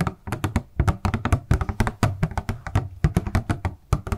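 Long nails and fingertips tap and handle a small, hollow, transparent purple plastic packaging box with a paper insert, held in both hands. A quick, uneven run of about two dozen short, dull, hollow taps and clicks is heard, weighted low with almost no ring after each.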